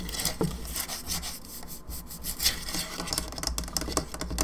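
Long nails on both hands scratch and tap the sides of the cranium of a hollow, painted plastic skull candelabra lamp standing on its base. Dry, bright raspy scratching mixes with quick, light hollow taps that die away almost at once, over a low steady hum.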